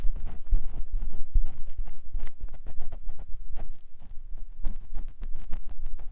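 A clear silicone ear pick with a yellow handle scratches and rubs inside the canal of a white silicone ear mounted on a binaural microphone block. The result is a dense, continuous run of close, muffled scraping and tapping strokes, heavy in low rumble with brief bright ticks.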